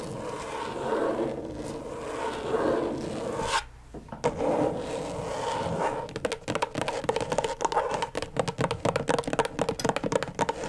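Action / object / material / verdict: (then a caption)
scrape / plastic LED tracing pad / plastic / none. Long stiletto nails scratch and tap rapidly on the plastic surface of a flat, thin, backlit rectangular LED tracing pad. The first few seconds are steady, hissy scraping with a brief near-silent pause, then scratching resumes. From about six seconds it turns into fast, clicky taps with a dry, mid-pitched plastic tone.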